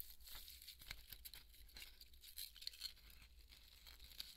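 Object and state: Polystyrene foam ball scratched.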